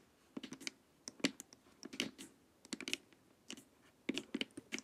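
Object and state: Hollow plastic face mask tapped with nails.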